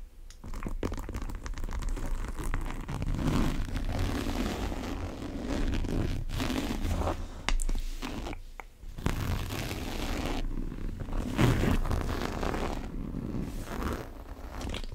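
Long nails pull the top zipper and scratch the surface of a large brown monogram coated-canvas tote bag. The result is a steady, dense stream of soft rasping, scratching and zipper sounds, mostly low and muffled with a few brighter scrapes.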